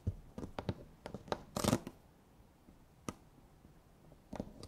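Long nails scratch and tap the lids and sides of two identical small round clear plastic dome jars with strawberry labels and red contents, held in both hands. Crisp plastic clicks and scrapes come in irregular bursts, with a louder rasping scratch in the middle and quieter taps toward the end.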